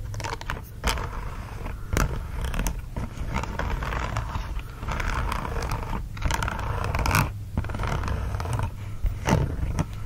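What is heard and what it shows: Fingertips and nails scratch and tap the smooth back of a green silicone dish glove held folded and upright. Dense, soft rubbery scratching and rustling runs throughout, over a steady low rumble, with sharper taps breaking through now and then.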